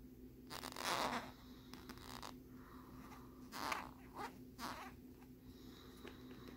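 Short fingernails scratch and tap the lenticular peace-sign back of a hollow, hard plastic phone case held in both hands. Quiet, dry scratching swells into brighter, hissy bursts between light, sharp taps. A faint steady low hum runs underneath throughout.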